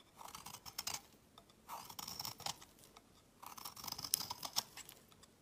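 A solid cream-white opaque soap bar, held in the hand, is shaved with a utility knife blade, carving shavings that pile up on a mat. Three bursts of crisp, dry scraping come through, bright and high with almost no low end and quick, crackly ticks, separated by near-silent pauses.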